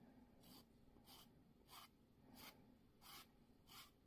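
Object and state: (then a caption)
Emery nail file on a plastic nail tip. A white foam-core emery nail file is rubbed back and forth across a long, clear, hollow plastic press-on nail tip worn on a fingertip. Six evenly spaced, bright, scratchy rasping strokes rise above a quiet low hum.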